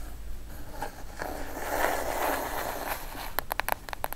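A plain brown kraft cardboard box, hollow and closed, is held upright and then laid flat while long acrylic nails tap its top edge and lid. A soft, hissy scraping and rustling fills the first few seconds, followed by a quick run of about seven sharp, dry, bright taps that stop instantly with no ring.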